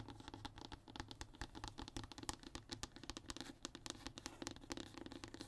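Short fingernails on both hands scratch rapidly across a flat, thin brown hardboard (MDF) sheet lying on a table. The result is a dense run of quick, dry, rasping strokes, each ending abruptly with no ring, set over a faint low hum.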